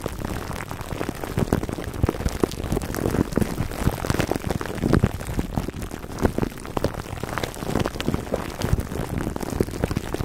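Fingertips and short nails of both hands scratch clear plastic cling wrap stretched over the dome of a black foam microphone windscreen. The result is a steady, dense stream of crinkling and crackling with a muffled, low-heavy tone. The tiny pops die out at once, with no ringing.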